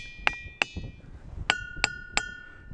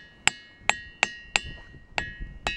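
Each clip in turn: First: Five sharp hammer strikes on a boulder, each leaving a bright bell-like ring near 2.6 kHz. Second: Six sharp hammer blows on a boulder, each leaving clear high tones near 2–3 kHz that ring on: a ringing rock.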